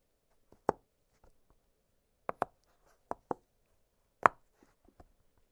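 Fingertips press the hollow bubbles of an octagonal blue silicone pop-it fidget toy lying flat on a glittery surface. Six sharp, dry pops centered around 1.1 kHz stand out, with fainter soft clicks between them. Each pop dies away almost instantly with no ring.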